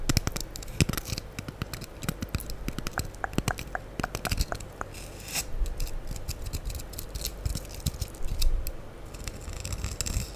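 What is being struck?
Foam sponge block.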